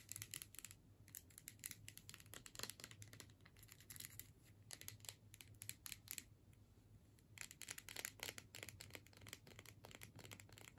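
Long nails scratch across the label and the metal screw-cap top of a filled plastic tube. The result is quiet, rapid bursts of bright, crisp scratching clicks over a steady low hum, with a brief lull before the scratching picks up again.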